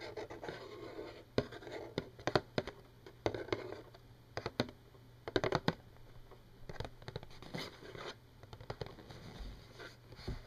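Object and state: Cardboard tissue box tapped and scratched with nails.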